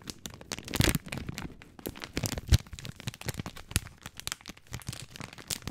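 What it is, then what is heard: Plastic film package of dry spaghetti. Fingertips crinkle and scratch a long, full plastic film package of dry spaghetti, working especially at its sealed end. A dense run of short, sharp crackles and scratches fills the clip, with bright, crisp edges over a soft low rustle, and a few louder crunchy snaps stand out, including one near the middle.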